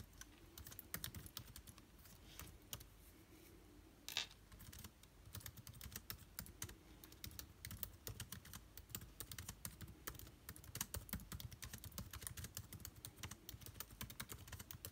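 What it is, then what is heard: Laptop keyboard being typed on. Fingertips type steadily on the plastic keycaps of an aluminium-bodied laptop keyboard, producing a fast, continuous stream of short, soft clicks. Each keystroke is crisp and bright, with a low, dull body and almost no ring. One sharper, louder tap stands out about four seconds in.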